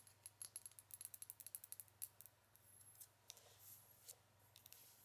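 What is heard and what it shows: Long acrylic nails tap and scratch a small frosted white foundation bottle, apparently glass, with a black cap, hollow and seemingly filled. A quick run of sharp, bright clicks gives way to softer, scattered scratching and occasional taps over a faint steady low hum.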